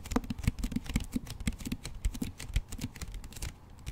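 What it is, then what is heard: Hardcover book with paper dust jacket. Fingertips and nails tap and scratch the front cover of a solid hardcover book with a glossy paper dust jacket, held upright behind a microphone. The result is a quick, uneven run of soft, dull, low thuds mixed with light scratchy rasps. Each tap dies away at once with no ring.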